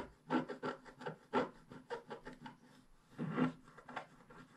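A wooden scratch stick scratches lines into the black coating of a scratch-art paper page in a scratch book, lying flat on a table. About fifteen short, dry, raspy strokes follow one another at varying strength, with a louder cluster near the start and another toward the end.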